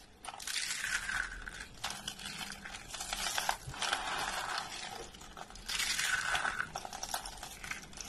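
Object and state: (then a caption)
Dry soap curls crushed by hand. Hollow, dry orange and white soap curls resting on a wooden table are grabbed with both hands and crushed in the fists. The result is dense, bright crunching and crinkling in bursts, brittle crackles piling up with short pauses between handfuls.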